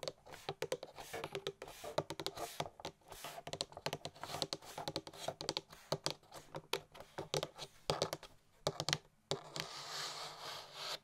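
A hollow, printed cardboard gift box is tapped and scratched along its top edge with long nails, giving rapid, crisp clicking taps with a bright papery edge. The tapping ends in a steady, hissing scratch across the cardboard.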